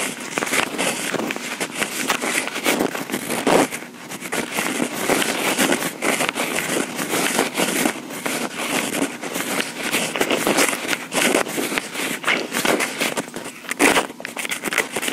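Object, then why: Plastic portable audio recorder with microphone housings. Long pink acrylic nails lightly tap and scratch the top and mic housings of a small, hollow, black plastic Tascam portable recorder. A dense, continuous run of bright, crackly clicks and scrapes fills the clip at a steady level, with almost no low end. Each tap dies away almost instantly.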